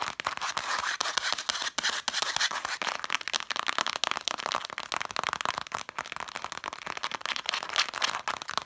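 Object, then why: Stack of cloth-bound book spines. Long matte dark nails rapidly scratch and tap the red cloth spines of a stack of vintage books. The result is a dense, continuous run of quick, dry, crackly taps and scraping strokes that are bright and thin, with almost no low end and no ringing after each hit.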